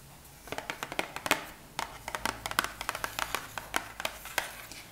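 A small, hollow, printed cardboard wax strip box is held on its side and tapped with long acrylic nails. The sound is a quick run of light, dry, crisp clicks with very short ring, bunched in uneven bursts over about four and a half seconds.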